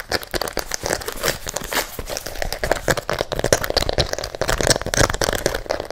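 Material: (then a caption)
Rubber, fabric. An empty pink and white rubber-soled fabric sneaker, held in one hand and turned toward the mic, is scratched and tapped fast and aggressively with fingernails on its sole and upper. The result is a dense, continuous stream of crinkly, crackling scratches and short dry taps with bright, hollow-sounding texture and no ringing.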